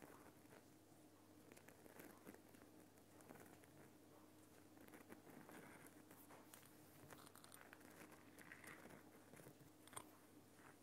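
Fingers scratch and tap near the top and on the side of a Himalayan rock salt lamp, a large solid lump of glowing pink rock salt. The result is a quiet, steady stream of dry, crinkly scratching with short, bright ticks that die away almost instantly, over a faint constant low hum.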